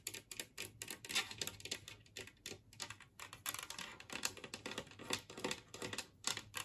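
Long nails tap rapidly on a large, empty glazed ceramic Christmas-tree-shaped serving plate lying on a table. The result is a quick, uneven patter of bright, sharp clicks that die away almost at once, with little low end.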